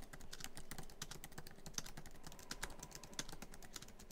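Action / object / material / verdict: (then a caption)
tap / laptop keyboard with plastic keys in an aluminum body / plastic / none. Fingertips of both hands type quickly on a MacBook Pro keyboard, tapping many black plastic keys set in the silver aluminum body of the hollow laptop. A dense, steady stream of short, crisp clicks and taps with bright high ticks runs throughout, each tap dying away almost instantly.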